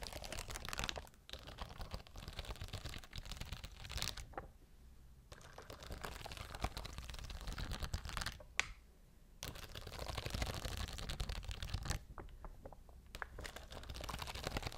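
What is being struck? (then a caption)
Plastic rhinestone sheet scratched and tapped with long nails. Long blue nails scratch and tap across a large, clear plastic sheet of small faceted rhinestones set in a grid, held up close. The result is a dense, crackly stream of fast scratches and bright clicks. A few brief pauses break it up, where single sharp taps stand out.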